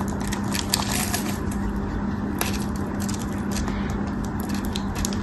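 A metal craft knife carves and scrapes a cream-colored solid soap bar, held in the hand, into small cubes, with other soap bars nearby. A steady, dense scraping and crumbling texture runs throughout, with bright crackly ticks over a low, rumbling bed and a faint steady hum.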